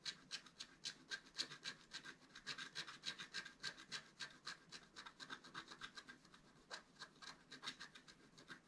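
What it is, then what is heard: Scratch-art card being scratched. A wooden stylus scratches fine lines on the right side of a flat, black, wax-coated scratch-art paper card held in one hand. The result is a quick, somewhat uneven series of short, dry scraping strokes, roughly three to four per second, with a bright, hissy tone and almost no low end.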